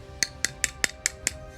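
Six evenly spaced taps on the thin plastic of an action figure toy make short, bright, hollow clicks centered around 2 kHz that die out almost instantly. The thin, light sound marks it as obviously cheaper plastic than another version of the toy.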